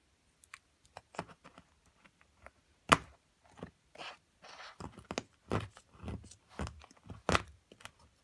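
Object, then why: Plaster block and metal chisel. A metal chisel chips at a solid plaster mound from an amethyst crystal excavation kit, producing sharp, dry clicks and crunchy scrapes with bits of crumbling grit between them. The hits are short, with almost no ring, and one is louder than the rest. The block is briefly lifted.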